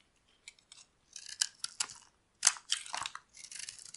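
A metal blade carves and scrapes flakes off a solid oval cream-colored bar of dry soap held in the hand. The result is a series of crisp, dry, bright scraping and crunching strokes in short irregular bursts, with almost no low end.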